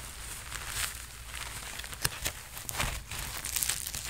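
Hands rub and scratch the sleeves and chest of a worn red sequined jacket, making a steady crinkly, rustling sequin sound. A few sharper scratches stand out above the bright texture, with a faint low hum underneath.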